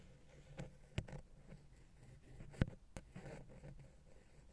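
A wooden ear pick scratches and rubs the small, hollow, silver metal XY microphone capsule housing on a Zoom H6. The result is quiet, low, muffled scraping, broken by a few sharp, dry clicks that stop instantly, with the loudest at about 1 and 2.6 seconds.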